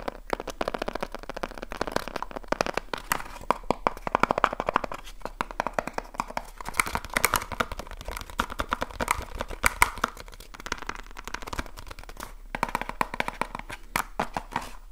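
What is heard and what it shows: A small cardboard light bulb box, held close to the recorder, is tapped fast with the fingertips of both hands. The result is a dense, steady stream of short, dry, hollow taps centred around 1 kHz, with slight pauses, running throughout the clip.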